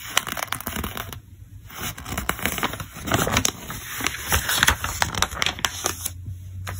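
Fingertips lift and turn the pages of a thick paper catalog. Dry, crinkly paper rustles and sharp, bright crackles and flicks come in quick bursts over a faint steady low hum.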